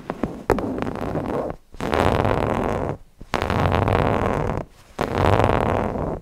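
Fingertips rub and scratch the appliqué eyes of a stuffed cotton owl cushion. A few quick taps and ticks open, followed by three sustained bursts of dense, scratchy fabric friction, mostly midrange with some low rumble, separated by short quiet pauses.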